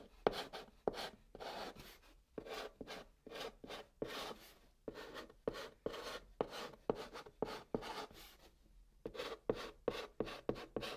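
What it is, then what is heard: Chalk writing on a cardboard box. A white chalk stick held in the fingertips writes Korean letters on the top of a large, flat, brown cardboard box, which sounds hollow underneath. Quick, dry scratching strokes come in separate bursts with short pauses, each with a gritty mid-range rasp around 430 Hz and a light, bright hiss that stops almost instantly.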